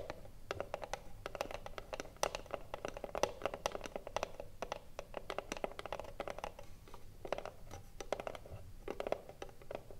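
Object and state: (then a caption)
Wooden cigarillo box tapped with fingernails. Long blue nails tap quickly on the front face of a small, hollow, closed rectangular wooden cigarillo box held upright in both hands. The result is a dense, irregular patter of crisp clicks, each with a hollow woody knock around 560 Hz that dies away almost instantly, over a faint low background rumble.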